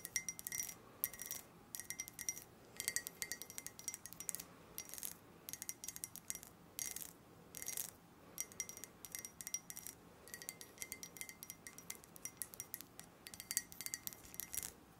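A hollow, empty, hand-sized purple-tinted skull-shaped glass mug is held in both hands and tapped and scratched with long nails. The result is rapid clusters of bright, clicky taps and scratchy rasps with faint short glassy rings. Brief pauses separate the bursts, and the sound fades almost instantly after each tap.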